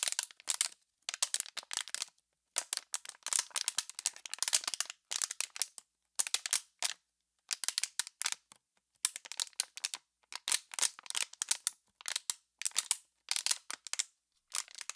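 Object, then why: Thin PET plastic water bottle. An empty, crumpled, clear PET plastic water bottle, hollow inside, is squeezed and crushed by hand. It gives off bursts of sharp, dry crackling and crinkling, bright and high with almost no low end. The clusters of quick snaps are separated by short silences.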